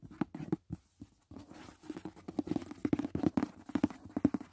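Fingertips and nails tap quickly on the lid of a closed, rigid white paperboard gift box resting on a bed. The taps come in rapid, uneven bursts of short, dry, hollow knocks with a low-mid body and almost no ring. There are a few brief pauses between bursts.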